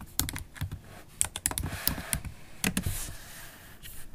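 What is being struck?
Laptop keyboard with plastic keys in a metal body.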